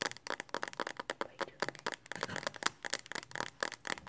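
Long nails tap quickly on the back of a smartphone in a pink hard plastic Speck case held in both hands. About twenty rapid, sharp, bright clicks come in uneven bursts over four seconds, each dying away almost instantly with a faint crackly rustle between taps.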